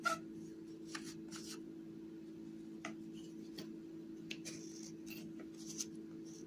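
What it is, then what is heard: Dry clay block being cut. A small, solid piece of white dried clay held in the fingertips is scraped and sliced with a utility knife blade. Short, dry, bright scratches and cutting strokes come in irregular bursts over a steady low hum.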